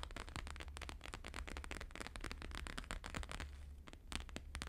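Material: Laminated paper.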